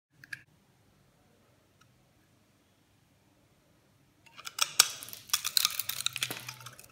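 A metal utility blade shaves and scrapes crumbly chunks off a dry, hand-sized solid oval white soap bar coated in green glitter bits, held in the palm. A couple of faint, brief ticks come first, followed by near silence. Then a dense run of bright, dry, crackling scrapes and crunches fills the last few seconds.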